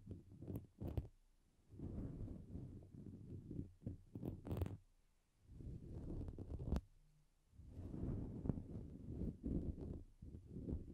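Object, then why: Synthetic fur microphone windscreen. Fingertips of both hands stroke, pick and pull at the strands of a grey-white fluffy faux-fur windscreen covering a Blue Yeti microphone. The result is close, low rumbling handling noise in soft swelling bursts, with brief pauses between them and a few sharp crackles and pops.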